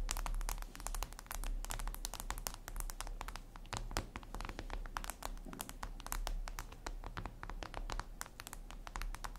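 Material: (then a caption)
Glass. Long red nails tap and scratch a flat, glossy black glass surface, possibly a tablet screen. A dense, continuous run of quick, sharp clicking taps mixes with light scratching over a steady low hum. The taps run close together with no pauses for the whole clip.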